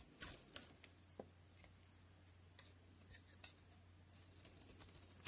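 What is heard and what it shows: A utility knife shaves thin, brittle flakes from the top of a solid white soap bar held in the hand, from a set of white NC, Linom and FAX soaps. About eleven short, bright, crisp scraping cuts snap out over a quiet, steady low hum, each dying away almost at once.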